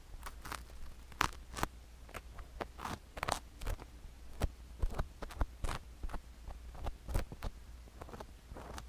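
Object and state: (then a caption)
Sugar-coated silicone ear microphone being scratched. A wooden stick scratches at the canal opening of a sugar-coated silicone ear microphone held in the hand. It makes a quick, irregular run of dry, gritty crunches and sharp crackling clicks over a steady low hum.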